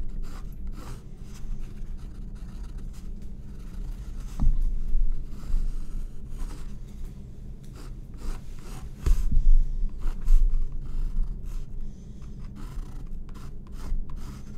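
A graphite pencil scratches and rubs drawing strokes across a white stretched cotton canvas board resting on a wooden table. Soft, dry scraping strokes repeat irregularly over a low steady hum, with a few louder bursts standing out.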